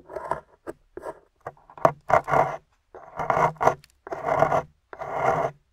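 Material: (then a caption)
Plaster. A small metal pick digs and scrapes crumbly plaster chunks out of the top of a solid gold-painted plaster excavation bar held in the hand. Fourteen short, dry, gritty scraping bursts come in irregular strokes, with a midrange rasp and almost no ring after each one.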